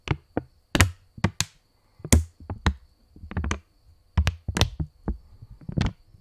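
A purple £20 polymer banknote, held stretched between both hands, is tapped by fingertips and snapped taut in about a dozen separate, irregular strikes. Each is a short, dry pop with a low thump and a bright crackle on top, and it dies away almost at once with quiet pauses between.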